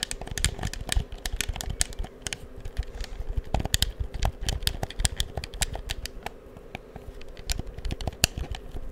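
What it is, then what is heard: Plastic game controller buttons clicking. A black hollow plastic PS4 controller is held in both hands beside the mic while fingertips click its buttons and triggers. The result is a steady run of quick, dry plastic clicks, each with a low thump and a bright tick that stop almost instantly, over a faint low hum.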